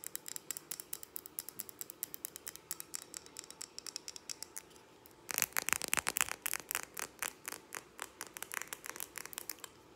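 Long acrylic nails tap fast on the sides and base of a large hand-held glass jar candle filled with purple wax and wrapped with a ribbon label. The taps are quick, bright, dry clicks with almost no ring, light and steady at first, then noticeably louder and fuller from about halfway through.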